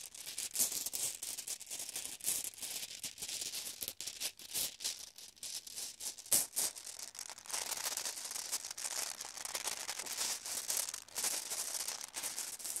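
Glass marbles are shaken and jostled inside a bag, producing a steady, bright rattling of dense, overlapping clicks with almost no low end. The clatter keeps going for the whole clip, with a few sharper knocks standing out.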